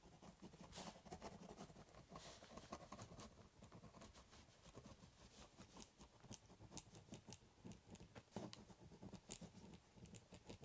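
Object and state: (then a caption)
Ballpoint pen scribbling on cardboard. A ballpoint pen scribbles a border across the top of a large corrugated cardboard box in scratchy strokes. The result is a quiet, continuous rasping patter of short, bright scratches over a hollow, low cardboard resonance.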